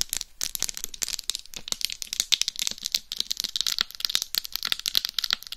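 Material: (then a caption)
Rhinestones. Long acrylic nails scratch and tap across the rhinestone-encrusted face of a life-size hollow mannequin-style binaural dummy head microphone. Dense, rapid, crisp clicks and scratchy rasps fill the whole clip, bright and almost entirely high-pitched with very little low end.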